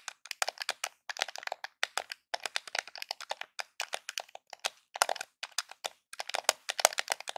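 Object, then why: Plastic game controller. Fingertips and nails tap and scratch along the top edge of a small, hollow grey plastic Nintendo game controller held in both hands. Dense, rapid clicks and crackles come in uneven clusters with short pauses, each sharp and dry with no ring, bright and papery with no low end.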